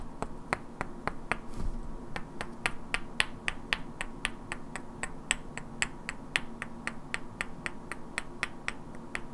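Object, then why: Two solid wooden blocks. Two identical hand-sized solid wooden cubes with black painted characters are held in both hands and knocked and clicked against each other, while long natural nails tap their edges. About 33 short, dry, bright clicks come at an uneven pace, each dying away almost instantly. A faint steady low hum sits underneath.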